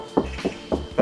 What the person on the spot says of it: 패드를 한 장 붙임으로 인해서 약간 둔탁한 소리가 나기 시작합니다.